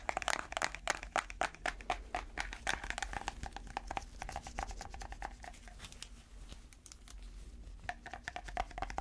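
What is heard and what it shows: Long red fake nails, worn over white latex gloves, tap and scratch a small round clear plastic tub with a printed lid that is full of dark slime. The result is a rapid, irregular stream of sharp, dry clicks with a hollow tone near 820 Hz, mixed with bright scratchy rasps and a low background hum. The clicks end almost instantly.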